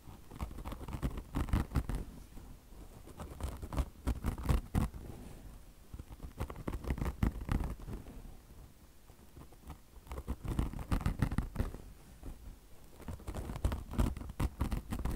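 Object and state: Mesh-covered foam car wash sponge.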